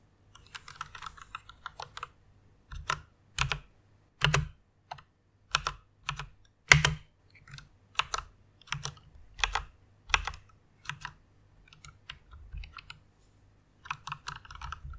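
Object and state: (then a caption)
Plastic mechanical keyboard. Both hands type with fingertips and long nails on the keycaps of a full-size white plastic mechanical keyboard. Bursts of sharp, bright clacks come in quick runs with short pauses, each stroke carrying a low thock under crisp, clicky highs. The keystrokes fall in an uneven rhythm throughout.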